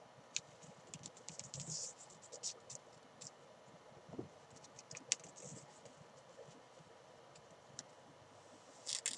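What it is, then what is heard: Fabric climbing chalk bag being scratched. Fingertips and long nails scratch and rub the green side fabric of a small, hollow, padded nylon climbing chalk bag lying on its side. Quiet, bright scratchy ticks and crinkly rustles come in short bursts over a faint steady hiss, with a louder swell of rubbing at the very end.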